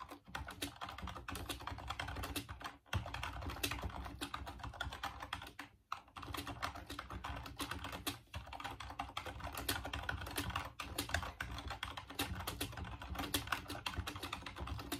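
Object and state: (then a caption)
Plastic computer keyboard being typed on. Fingertips type steadily on a full-size off-white plastic Dreamcast computer keyboard, producing a dense run of quick plastic key clicks with brief pauses near 3, 6 and 8 seconds. The clatter has a low hum beneath bright, sharp clicks.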